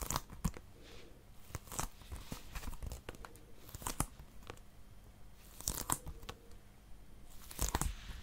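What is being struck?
Small plastic game case.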